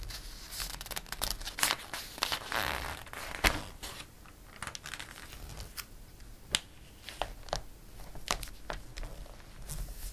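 A page of a glossy paper catalog is turned and a flat palm rubs across the paper. Crisp crinkling and bright, hissy rustling are broken by short, sharp snaps and crackles, with a longer smooth swish partway through.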